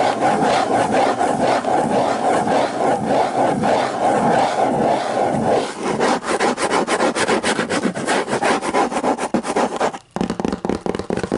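Fingers scratch and rub across the hard cover of a hardcover book, making a dry, papery rasp. A steady scratching gives way after about six seconds to quicker back-and-forth strokes, breaking off briefly near the ten-second mark before resuming.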